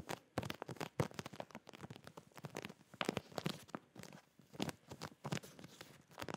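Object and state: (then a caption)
Plastic packaging bag with folded boxers. A clear plastic zip packaging bag of folded boxers with a cardboard header is held up close while fingertips and nails tap and scratch across it. The plastic crinkles and crackles in a dense run of short, sharp taps and rustles that stay quiet overall, with some bright edges.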